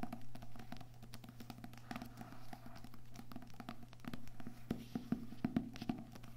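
Books with paper and cardboard covers are tapped softly with the fingertips, without any talking. Quick, dull, low taps patter almost continuously over a steady low hum, with a few sharper, louder taps near the end. Each tap dies away almost immediately.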